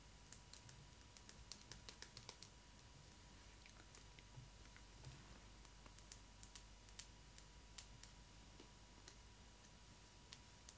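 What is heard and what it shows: Long acrylic nails tap and scratch the small, solid pink hard-plastic sandals worn on the feet of a Disney ILY 4ever Stitch doll. Quiet, sharp, bright clicks come in irregular bursts with very short decay, over a faint low rumble and a thin steady tone.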